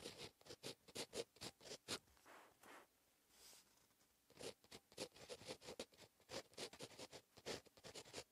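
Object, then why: Plastic ballpoint pen on lined paper notebook page. A plastic ballpoint pen writes short cursive strokes on a lined paper notebook page, its tip staying on the paper throughout. A quiet series of bright, scratchy bursts follows, with a softer, slower stretch in the middle before the quick strokes pick up again.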